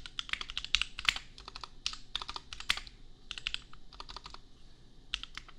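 Fast fingertip typing on a $250 custom compact mechanical keyboard with Gateron Milky Yellow switches and red and pink plastic keycaps. It produces a quick, uneven stream of short, bright plastic clacks that die away almost instantly, with a few harder keystrokes standing out.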